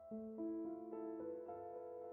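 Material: Nothing is struck.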